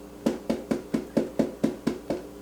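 A dried, hollow fabric-scrap mache bowl made with glue is tapped ten times in a steady, even rhythm. Each tap is a short, dull, hollow knock centered low in the midrange around 230 Hz, and it dies away almost immediately.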